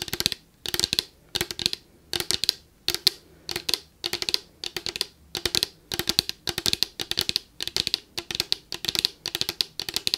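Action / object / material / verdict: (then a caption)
tap / plastic spray bottle / plastic / none. Long acrylic nails tap rapidly on a tall Victoria's Secret PINK body mist bottle of clear plastic with a purple cap, partly full of liquid and held in one hand. The sound is bursts of quick, dry, bright clicks in clustered flurries with short pauses between them. Each tick dies away almost instantly, with very little low end.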